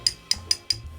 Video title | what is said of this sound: Inside the Billion-Dollar World of Fake Luxury — From Nikes to Rolexes | When you tap it, it sounds, it's almost like it's plastic underneath.